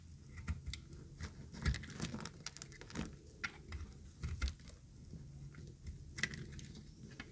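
A thinned, pink-green speckled dry bar of soap is held in the hand and shaved with a utility knife blade. The result is a quiet run of short, dry scraping and crackling strokes, with brief bright ticks over a soft low rumble.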